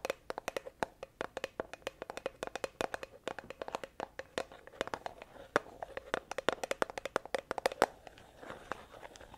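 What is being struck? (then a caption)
Plastic tub with lid. Long acrylic nails tap and scratch the green plastic lid and sides of a medium plastic tub of honey that appears full. A rapid, uneven string of dozens of short, dry clicks with a hollow tone around 535 Hz, mixed with brief scratchy rustles, continues for about nine seconds.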